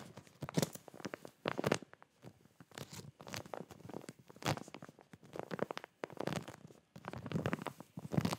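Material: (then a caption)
Plastic. Fingertips and nails tap and scratch a clear plastic zip packaging bag of folded boxers with a cardboard header, held up close. The plastic crinkles in quick, uneven bursts of soft taps and scratchy rustles, separated by brief pauses.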